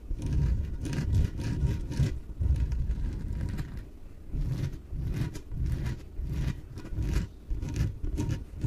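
Long nails scratch the sides of a small, yellow, hollow, air-filled inflatable PVC exercise ball. The result is a run of dull, rubbing scrape strokes in uneven bursts, with a deep, muffled, boomy tone from the ball's hollow body and bright rasping edges on each stroke.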